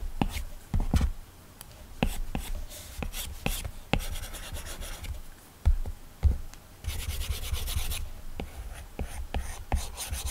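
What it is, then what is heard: Stylus on matte screen protector. A plastic Apple Pencil tip rubs and scratches repeatedly across a flat iPad glass screen covered with a matte Paperlike plastic protector while shading. The steady, dry scratchy friction comes in bursts with brighter hiss on faster strokes. Short, sharp taps land on the side toolbar now and then.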